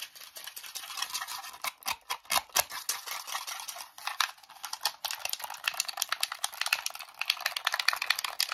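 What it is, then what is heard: Plastic game controller. A red, hollow plastic wireless game controller with its battery cover open is held in both hands and tapped, scratched and rattled with short natural nails and fingertips. Fast, dense, chaotic clicks and scrapes follow one another, bright and thin with almost no low end and no ringing.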